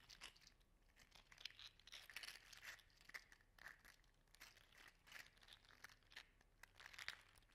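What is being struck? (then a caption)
3D printed hollow plastic articulated slug toy. A regular-size, hollow, segmented 3D-printed PLA slug toy in orange/gold silk filament is held in one hand and wiggled and flexed so its segments click and rattle against each other. The result is a quiet, continuous stream of dry, crunchy, crinkling clicks with bright, sharp peaks and almost no low end.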